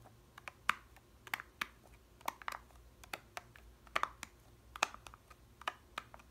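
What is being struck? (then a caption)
Plastic yogurt cup with foil lid. Long red nails tap the blue foil lid of a small, full and sealed plastic yogurt cup. About eighteen quiet, dry clicks come in an uneven rhythm, each sharp and midrange with a bright edge, dying away at once with no ring.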